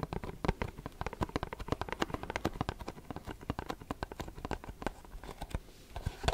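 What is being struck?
Cardboard perfume box.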